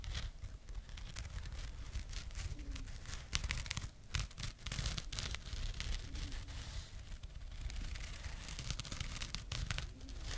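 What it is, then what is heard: Burlap jute pouch. Long painted nails scratch a small burlap/jute pouch close to the microphone. The result is a steady, dense rasp of rough, dry scratching and crinkling, with a low close-up rumble underneath and bright fibrous crackle on top. Occasional sharper scrapes stand out from the continuous texture.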